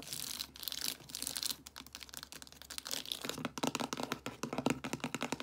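Long acrylic nails and fingertips tap and scratch along the spines of a row of hollow plastic DVD cases standing upright on a shelf. A bright, crinkly scratching rasp gives way to a quick run of crisp, clicky plastic taps, each dying away almost at once.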